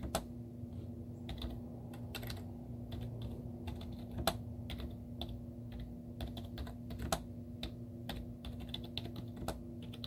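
Long teal-painted nails and fingertips type rapid taps on a white plastic laptop keyboard with cartoon stickers on its hollow keys. Each key gives a short, sharp, hollow click that dies away almost at once, with a few louder strikes standing out. A low steady hum runs underneath throughout.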